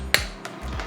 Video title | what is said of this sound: Steamed Mussels Recipe - Mussels Meuniere | Much more dense.